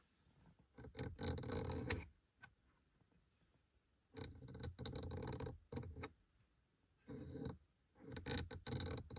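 A fingertip and a short painted nail tap and scratch the small adjuster tab and horizontal slats of a black plastic dashboard air vent in a Seat Leon FR car. Bursts of dry, rapid plastic scratching and clicking come in clusters separated by near-silent pauses. The sound is crisp with a low thump underneath and bright scraping on top.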